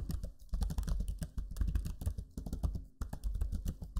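Fingertips type on the low-profile plastic keys of a backlit black Lenovo Legion 5 laptop keyboard, producing a steady run of soft, quick clicks and taps. The keystrokes come in dense bursts with brief pauses, each one short and dull with a low thud under a faint bright tick.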